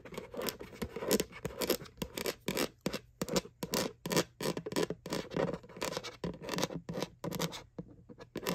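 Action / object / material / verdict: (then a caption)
scrape / hollow plastic bucket bottom / plastic / none. Long nails scratch back and forth across the flat bottom of a white hollow plastic McDonald's Halloween Boo bucket. Quick, rhythmic strokes make dry, bright scraping bursts with a hollow plastic body near 500 Hz, separated by short gaps over a faint steady low hum.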